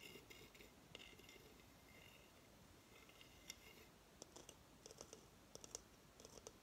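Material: Coconut shell.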